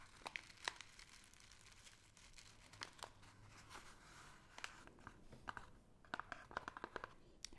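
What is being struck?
Kraft-paper gift bag.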